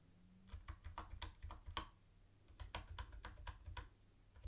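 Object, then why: Plastic keyboard keys. Fingertips of one hand tap keys on a mint-green plastic retro keyboard with round white plastic keycaps. About thirteen short, dry plastic clicks come in two bursts with a brief pause between them. A steady low hum runs underneath.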